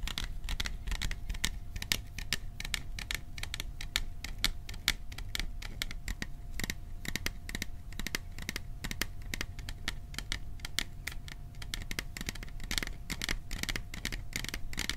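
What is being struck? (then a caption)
Printed metal popcorn tin. Fingertips rapidly tap the sides of a hollow, cylindrical printed metal popcorn tin held in both hands behind the microphone. A quick, continuous stream of short, bright metallic clicks with very little ring plays over a low background rumble and a faint steady tone.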